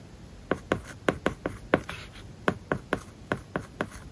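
A plastic stylus writes words on an iPad lying flat, its glass screen covered with a matte plastic paper-like film. Thirteen short, crisp taps and scratches, with a faint dry rasp between strokes, sit over a quiet hiss and die away almost at once.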